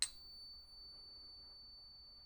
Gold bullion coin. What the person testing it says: hit it and listen to the sound you can tell if it's real or fake based on the sound